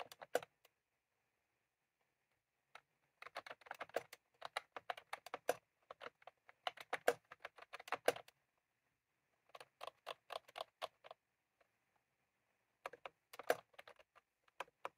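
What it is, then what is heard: Plastic round-key keyboard being typed on. Fingertips of both hands type on a white/cream plastic retro computer keyboard with round typewriter-style keycaps, resting on a desk. Bursts of rapid, crisp clacking keystrokes come with short pauses between them. Each click is dry and short, with a mid-range body and a bright edge.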